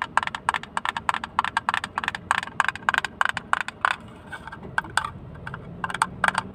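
Fingernails tap rapidly on a small, hollow, empty blue plastic hinged box with its lid open, close to the microphone. Around thirty sharp, clicky taps ring out with a bright tone near 1 kHz and crisp high edges. Each tap dies away almost instantly, with a brief quieter lull about two-thirds of the way through before the tapping resumes.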